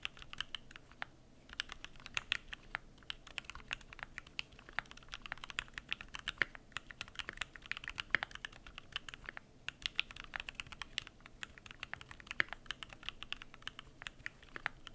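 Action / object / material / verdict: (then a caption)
tap / aluminium mechanical keyboard with plastic keycaps / plastic / none. Fingertips type continuously on a Keychron Q1 aluminum mechanical keyboard with PBT plastic keycaps. The result is a steady, irregular stream of short, crisp clacks with a bright, clicky tone centered around 1.8 kHz. Each stroke dies away almost instantly, with occasional sharper, louder keystrokes standing out.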